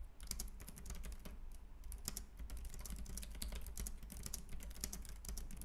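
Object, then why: Plastic computer keyboard. Fingertips type continuously on a white compact plastic Logitech K380 keyboard with round keys, giving a steady stream of quick, dry key clicks with bright, sharp tops. Beneath the clicks sits a constant low hum.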